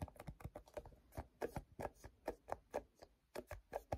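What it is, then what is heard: Plastic squeeze tube handled by fingers. Fingertips grip, slide and rub along a hand-sized, hollow cream plastic cosmetic lotion squeeze tube. The result is a quiet, steady run of about nineteen short, soft, dull taps and brief rubbing brushes, each fading almost instantly.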